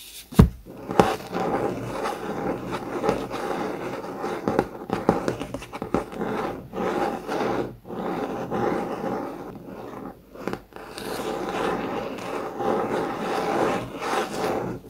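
A thick blue COMIX hardcover notebook with a laminated cardboard cover, spine toward the camera, is scratched with the fingertips and short nails of both hands. A steady, dry scraping texture, mostly mid-range, runs throughout with brief pauses and a few sharper taps near the start.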